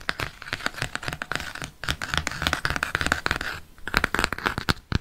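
Fingernails scratch and tap along the glossy cardboard cover and spine of a floral "Dessins" paperback book held at an angle. Quick, dry scratching strokes mix with sharp little taps, with a bright, papery rasp centred around 1.5 kHz. Each tap dies away almost instantly, with only brief quiet gaps between the bursts of activity.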